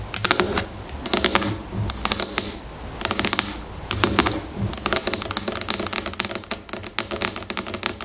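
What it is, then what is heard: Plastic shampoo bottle tapped with fingernails. Long fingernails tap and scratch on top of a medium-size, hollow plastic shampoo bottle that lies on its side on a table and appears filled with liquid. Quick bright clicking taps come in rapid bursts with short pauses, mixed with soft scratchy rasps. Each tap is crisp and dies away almost at once.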